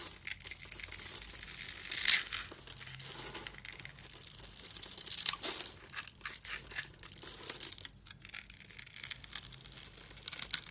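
A hand-sized solid brown bar of soap with an embossed logo, held in the hand, is scored into a grid and then shaved and scraped into crumbly flakes with a metal utility-knife blade. The sound is a steady, bright, dry scratching and crumbling with almost no low end, rising into sharper scraping bursts near 2 and 5 seconds.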